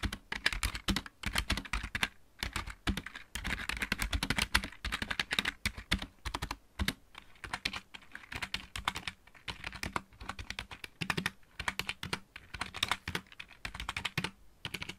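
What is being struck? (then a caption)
Plastic mechanical keyboard. Fingertips type on the main keys of a full-size backlit plastic mechanical keyboard, then one hand moves to the right-side keys. The result is a steady stream of quick, crisp clicky taps with bright highs and a light low thump, in short bursts separated by brief pauses.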